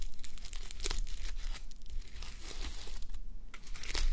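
Long nails scratch across a flip-sequin sleep mask of plastic sequins on fabric, resting on a mannequin head, flipping the sequins over to silver. A continuous, crinkly scratching rustle comes in quick bright bursts over a soft low rumble, swelling slightly louder at the end.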